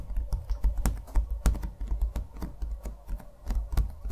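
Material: Canvas.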